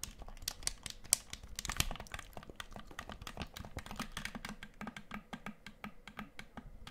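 Fingertips and nails tap fast on the face and buttons of a black plastic gamepad with a hollow shell, held close to the mic. The taps form a rapid, uneven stream of dry, bright clicks with a soft low knock under each one. Every tap stops almost instantly with no ring.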